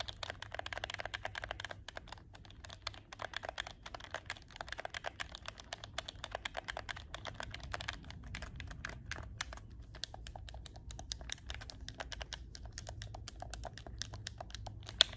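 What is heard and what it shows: Fingertips tap and click the shoulder buttons of a hollow black plastic PS4 game controller held in both hands. A quiet, steady stream of short, bright plastic clicks runs throughout over a faint low hum, with one sharper click at the very end.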